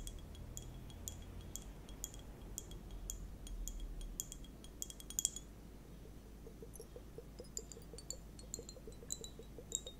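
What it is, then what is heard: Liquid hourglass timer with clinking beads. A small transparent plastic liquid hourglass timer filled with purple liquid and clear water beads is turned and tilted while held with long nails. The beads give off many quick, high, bright clinks inside the shell, and the nails tap the plastic, over a low steady hum.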